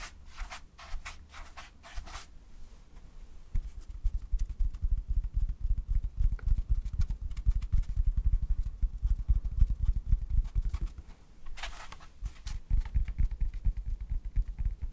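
A large white toilet paper roll with a hollow core is held in the hands and tapped and scratched with fingertips on its paper surface. The sound is a run of soft, dull, low thumps with quick scratchy strokes. Brief bright rustles come near the start and again near the end.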